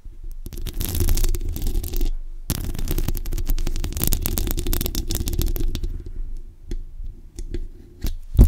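Long acrylic nails rapidly tap and scratch the grille and body of a black metal USB desktop condenser microphone on a stand. The result is dense, close, bass-heavy scratching with a brief pause near the two-second mark. It then thins into scattered taps and ends on a sharp knock.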